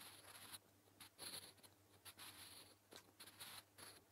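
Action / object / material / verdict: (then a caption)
scrape / graphite pencil on a paper notebook page / paper / none. A sharpened natural-wood graphite pencil, held in the fingertips, writes Korean letters on a flat grey sheet of lined notebook paper resting on a surface. The scratching comes as short, irregular bursts of bright, hissy friction with brief pauses between strokes, over a faint low hum.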